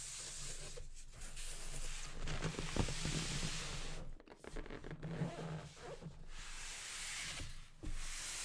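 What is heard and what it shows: White cotton-gloved hands turn over and rub the surface of a medium-large, hollow printed cardboard retail box for a JBL Xtreme 2 speaker, with orange sides, a carry strap and a black front, and the speaker presumably inside. A steady, dry rubbing and sanding-like scrape with a bright hiss and a low rumble underneath briefly drops quieter as the box is shifted and then picks back up.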